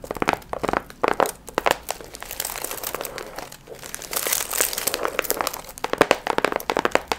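Long nails scratch and crinkle the gold foil fringe on a medium, hollow paper pumpkin piñata. The clip is full of dense, crisp crackling and rustling with bright, papery highs. Clusters of sharp taps and crunches come between stretches of steadier scratching.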